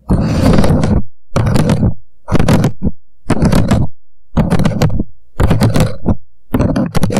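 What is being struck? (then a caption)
Upside-down paper coffee cup. Fingertips quickly tap and scratch around the sides of an empty, hollow paper "Coffee Shop" cup turned upside down on a microphone. The result is seven rapid bursts of dense, hollow tapping and scratching, each about a second long with short pauses between. The sound is heavy in low thumps, with bright scratchy texture on top.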